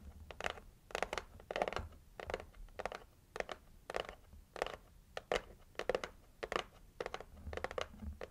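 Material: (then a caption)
Cardboard. Long acrylic nails scratch the printed lid of a red heart-shaped cardboard gift box. Short, dry scratching strokes come in quick bursts with brief pauses, each stroke a rough, bright rasp centered in the midrange with almost no ring. The result is a steady, rhythmic papery scratching.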